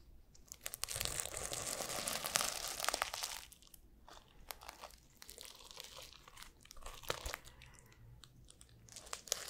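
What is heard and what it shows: Fingertips and nails scratch and brush back and forth across the flip-sequin cover of a small notebook, plastic sequins on fabric, held in one hand. A dense, bright crinkling rasp swells in the first few seconds, then thins into quieter, irregular scratches and sharp ticking clicks.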